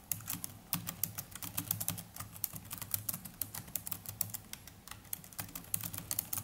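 The plastic chiclet keys of a small black netbook are typed continuously with the fingertips of both hands. The result is a steady, irregular stream of short, dry, bright clicks and taps that stop instantly with no ring, over a faint low background hum.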